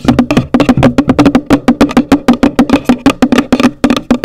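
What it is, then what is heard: Hollow cardboard gift box. Long nails tap and scratch the top of a hollow, pale green printed cardboard gift box. About 27 quick, irregular, dry knocks carry a hollow low-mid tone near 250 Hz and die away almost at once, with faint scratchy texture between them.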